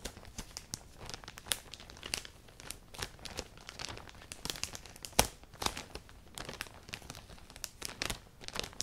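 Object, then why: Thin plastic poly bag holding clothing. A clear, thin plastic poly bag filled with black clothing is pinched, stretched and crinkled between long painted nails and fingertips. The result is a close, continuous stream of dry, bright crinkles and crackles, with sharper snaps standing out now and then.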